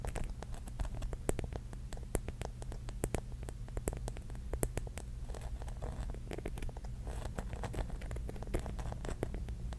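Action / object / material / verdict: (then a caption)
tap / glass mirror-tile mosaic mushroom / glass / none. Long nails tap quickly on the glass tiles of a pink mirror-mosaic mushroom cap, making a rapid patter of sharp, bright clicks. The clicks stay soft and even throughout, over a steady low hum.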